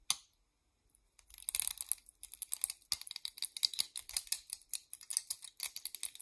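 Long nails tap rapidly on a small purple hair claw clip of solid molded plastic. After a single click and a short pause, a dense run of sharp, bright clicks follows with almost no low end, and each one dies away instantly.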